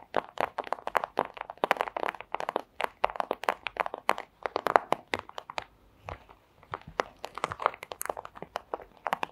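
A thin transparent plastic pouch is tapped rapidly with the tips of long acrylic nails, giving dozens of crisp, crinkly clicks. The clicks are centered in the midrange, with almost no low end and very little ring. They come in quick, uneven bursts, with a brief pause a little past the middle.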